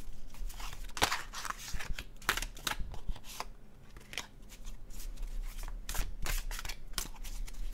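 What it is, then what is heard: Tarot card deck being shuffled. A full deck of dark blue cardstock tarot cards is held in both hands over a blue cloth, riffled and overhand shuffled by fingertips. Quick, crisp papery flicks and snaps come in uneven bursts, with bright broadband edges that die away almost instantly. A faint low rumble sits underneath throughout.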